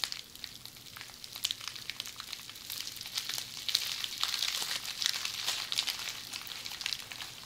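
Tightly rolled red plastic bubble wrap held in hands is squeezed and scratched by long polished fingernails. It makes a dense, bright crackle of quick ticks and crinkles with almost no low end, building louder through the middle of the clip before easing off toward the end.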